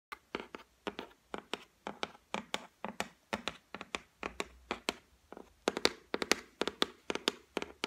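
Long white acrylic nails tap across the flat, solid top of a white laminated shelf, likely MDF or particle board. About 34 quick, irregular taps land in bursts, each a dry, bright click with a short woody knock that dies almost at once. The taps grow louder and denser in the second half.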